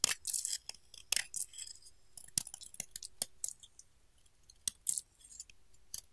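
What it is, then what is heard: Bar soap being carved. A pink solid bar of soap, carved into a chunky shape, is scraped and cut with a metal utility knife blade. Dry, crisp scraping and crackling bursts alternate with sharp, bright cutting snaps, with almost no low end and no ring between strokes.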